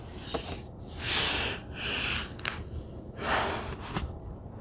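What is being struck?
Cloth-covered hardcover book cover.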